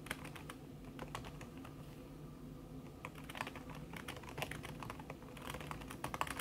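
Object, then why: Laptop keyboard with silicone cover. Long red nails tap quickly across a backlit laptop keyboard in a silver aluminum body, its keys covered by a thin red silicone skin. Many soft, dampened clicks come in a fast, steady stream over a low background hum, with brighter clusters of taps near the end.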